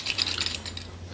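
A seized automotive AC compressor, removed from an LS-swapped C10, is shaken, and loose metal pieces rattle around inside it in bright, clinking bursts. The compressor is cracked and broken inside, and the loose parts are pieces from a bearing that came apart.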